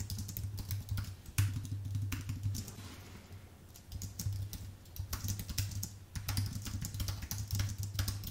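Fingertips type fast on a white, full-size Apple Magic Keyboard with plastic keycaps on an aluminium base, producing a dense stream of short, bright key clicks. A steady low hum near 100 Hz runs underneath. The typing eases off around the middle and then picks back up at full pace.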